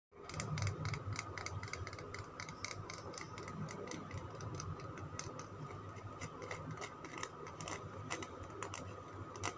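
A palm-sized solid green Lux soap bar, its surface already scraped, is held in the hand while fingernails tap and scratch it. Quick, dry clicks and scrapes repeat steadily over a low, dull body with bright ticking tops.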